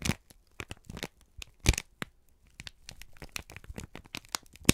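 A wrinkled strip of brown kraft paper is squeezed and crinkled by both hands. Many short, dry crackles and crinkles are heard, with a few louder crunches around the middle and at the very end.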